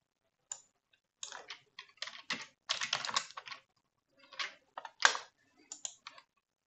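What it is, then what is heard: Plastic computer keyboard. One hand types with fingertips and nails on the low-profile keys of a black plastic computer keyboard. Quick bright clicks and taps come in short clustered bursts separated by pauses, each dying away almost at once, with a sharper tap near the end.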